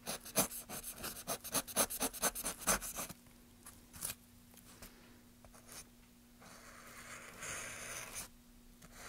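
Gloved hands make short, quick scraping cuts with a small carving knife across a solid light pine softwood plank with rounded carved ridges, shavings gathering around it. A rapid run of crisp, bright scrapes fills the first three seconds, followed by scattered softer strokes and a stretch of steady, hissy rubbing before it fades.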